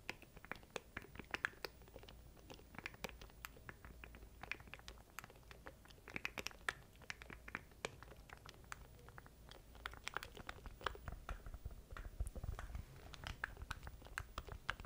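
Fingertips tap and click the button keys of a small black plastic stream deck controller held in both hands close to the mic. The result is a quiet, steady stream of short, dry, bright clicks with almost no ring, over a soft low rumble.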